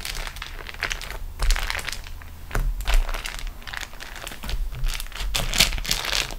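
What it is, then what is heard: Beeswax-coated cotton food wrap. Long nails and fingertips scratch and press a large, flat sheet of beeswax-coated cotton food wrap with a rolled edge as it lies on a table. Dense bright crinkling and crackling comes in uneven bursts, with sticky peeling sounds over a steady low hum.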